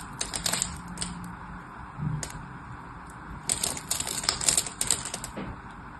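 A small metal knife blade scores and scrapes the surface of a single solid orange-and-white striped bar of dry soap held in the hand, chipping off crumbly cubes. The sound is a run of crisp, bright scratching clicks and crackles, with a busy burst at the start and a denser flurry in the second half.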